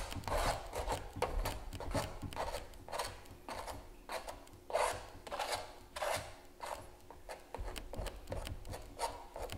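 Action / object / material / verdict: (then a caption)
scrape / stretched canvas print scraped with a metal palette knife / canvas / none. A palette knife held in the fingers scrapes and scratches along the surface of a large stretched canvas giclee print lying flat. Short, irregular rasping strokes repeat at roughly 100 per minute, each a bright, dry scratch with a mid-range edge, over a faint low rumble.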